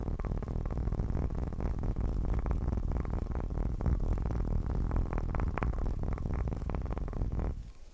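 A bowling pin is tapped fast and aggressively in a dense, continuous stream of dull, low, hollow-sounding knocks. Each tap dies away quickly, with little brightness. The tapping holds steady for about seven and a half seconds, then thins and fades out.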